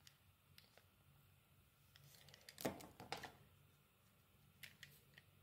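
A metal blade scrapes and shaves the surface of a solid oval pale green soap bar held in the palm. Quiet, scattered crisp scraping ticks swell into a louder, brighter burst of shaving near the middle, then fade back to soft, sparse scrapes.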